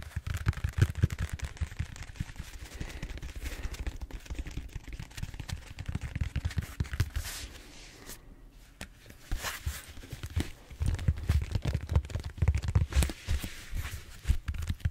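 Fingertips tap and scratch the surface of a large purple bead-foam styrofoam foam roller, first standing upright and then turned horizontal. Dense, rapid, dull thumping taps mix with crackly scraping, heavy in the low end with faint bright crackle above. A brief quiet lull around the middle gives way to renewed bursts of tapping.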